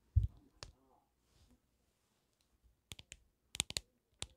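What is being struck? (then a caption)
Hard plastic phone case. A smartphone in a black hard plastic case with graphics, held in one hand beside the mic, is tapped and clicked with fingertips and nails. A low, dull thump and a tap come first, then after a quiet pause a scattered run of short, sharp, bright clicks that stop almost instantly.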